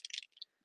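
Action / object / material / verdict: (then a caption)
shake / refillable marker with a marble mixing ball / plastic / none. A refillable marker filled with drawing gum masking fluid is shaken to mix it, and the marble mixing ball rattles inside the barrel. Two quick bursts of bright, high-pitched clicking fade out within a fraction of a second.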